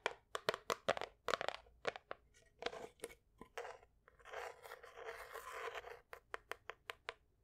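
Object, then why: Small wooden picture frame with glass front. A small wooden picture frame with a fruit painting behind glass is held in both hands and tapped and scratched with long white acrylic nails. Quick, sharp clicking taps come in bursts, then give way to a few seconds of steady, hissing scratching before the crisp taps return at the end.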